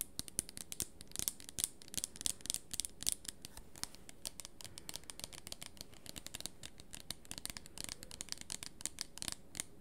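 A small red plastic hair-treatment spray bottle with a black pump cap is held in both hands near the microphone and tapped and scratched with long nails along its body. The result is a quiet, steady stream of rapid, crisp clicks and scratchy rasps, bright and high with some low rumble beneath. Each tap dies away instantly with no ring.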